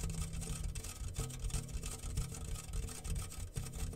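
A homemade rain drum, a medium round yellow-painted metal tin with a clear plastic film stretched over its open top and small loose grains inside, is held in both hands and slowly tilted and rocked. The grains roll and patter across the film in a continuous, soft, low, rumbling rustle with faint brighter grain ticks on top.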